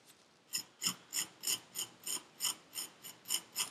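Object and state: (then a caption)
Kinetic sand scraped with a needle tool. A metal needle tool scratches across purple kinetic sand packed into a paper cup, making 11 short, bright, gritty scraping strokes at a steady rhythm of about three per second. Each stroke is crisp and high with almost no low end, and it cuts off quickly into near silence between passes.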